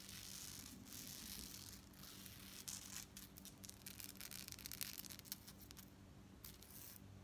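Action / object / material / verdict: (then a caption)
shake / metal bead fringe necklace / metal / none. Long nails scratch the beads of a gold-tone metal necklace with hanging chain fringe, then the fringe is held up and shaken. The result is a quiet, bright, hissy scratching that turns into a run of fast, sharp metallic clicks and jingling rattles, with a steady low hum underneath.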